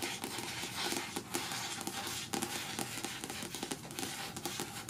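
Long natural nails quickly tap and scratch the card cover of the paperback novel "In the Woods," which lies flat, closed and solid on a patterned cloth. A dense, bright, papery scratching runs throughout, punctuated by light, fast taps, with little low end.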